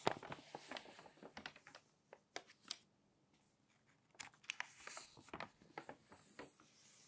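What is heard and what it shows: Fingers turn the crinkly coated pages of an open glossy paper magazine, making quick, bright crackles and soft rustles. A run of crisp bursts is followed by a brief near-silent pause, then another flurry of crinkling page turns, all quiet and close.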